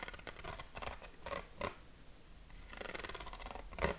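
Short fingernails scratch across the ribs of a yellow corrugated craft paper sheet, about 20 cm square, held against the chest. Quick, dry, rasping strokes come in uneven bursts with bright edges, easing into a softer stretch before a sharper, louder scrape near the end.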